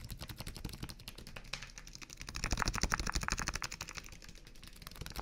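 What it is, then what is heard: Plastic water bottle tapped. A small clear plastic water bottle, partly filled and held between both hands, is rapidly tapped with the fingertips on its thin hollow plastic sides. The result is a fast, irregular stream of quick clicky taps with a bright edge and a soft low thud beneath. The tapping grows louder around the middle of the clip before easing back.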